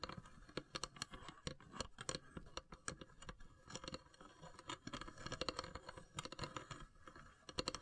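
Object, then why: Carved wooden incense box with inlaid lid. Long silver nails tap rapidly and irregularly on the pierced lid of a long, hollow, carved wooden incense box with brass inlays. Each tap is a short, dry, bright click that dies away almost instantly, with a hollow mid tone beneath. The quiet tapping clusters into bursts and pauses, like fingertips drumming.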